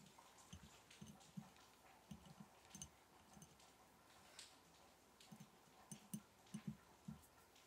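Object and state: Glass jar of matches tapped.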